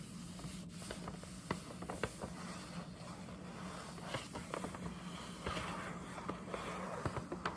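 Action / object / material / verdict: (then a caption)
scrape / paper gift bag / paper / none. Long nails scratch and tap the surface of a hollow printed paper gift bag with a scalloped top, held upright. Soft, dry scraping runs throughout, broken by about eight sharp, papery taps over a steady low hum.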